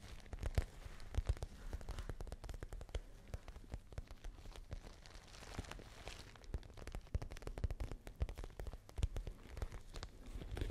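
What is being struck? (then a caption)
Patent faux leather handbag. Long nails tap and scratch across the surface of a small pale pink glossy patent faux leather shoulder bag with a gold chain strap. Quick, dry clicks and soft scraping rustles come in a dense, uneven stream, each tap dying away almost at once. The sound is quiet and carries a low, dull thump beneath faint brighter scratches.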